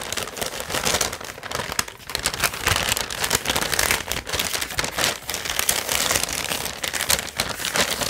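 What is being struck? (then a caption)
Kraft paper bag. Fingertips grip, rub and crinkle the sides of a large, hollow, seemingly empty brown kraft paper bag held up in the air. The result is a steady, dense stream of bright, crackly paper crinkling with quick overlapping rustles and little low end, swelling and easing as the grip shifts.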